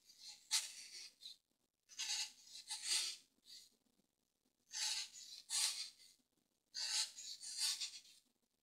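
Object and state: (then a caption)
Dry floral foam block being carved. A pointed tool with a green handle scratches and carves crosshatch lines into a solid, hand-sized grey dry floral foam brick held flat on a table with one hand, flicking off foam chips. Soft, dry, bright scraping rasps come in four short bursts of strokes separated by silent pauses, with almost no low end.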